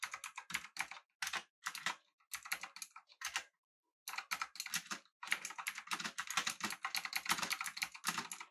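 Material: Plastic.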